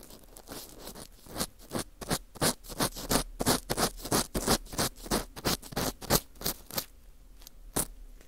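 A thin orange plastic earpick scrapes and scratches inside the hollowed-out center hole of a round slice of dry, porous Japanese fu (wheat gluten bread), held in a gloved hand against a microphone. About two dozen dry, bright, crackly scratching strokes come in a fairly steady rhythm of roughly three per second. There is a quiet pause near the end before one last scrape.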